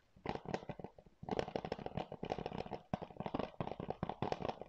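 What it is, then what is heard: Plastic game case. Fingernails scratch and tap a hollow blue plastic PS4 game case, a keep case held in both hands, across both the case and its cover. Quick, dry clicks and scratches come in dense clusters, with brief pauses near 1.2 and 2.9 seconds. Each tap has a hollow plastic knock centred around 470 Hz, a bright scratchy edge, and almost no ring.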